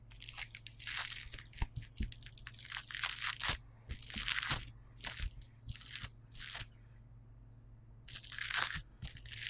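Knuckles and fingertips press, knead and rub a flattened piece of yellow polystyrene bead foam clay on a white table. Dense, bright crunching and crackling bursts come in rapid clusters over a steady low hum. The sound briefly falls quiet near the end before another loud run of crunching.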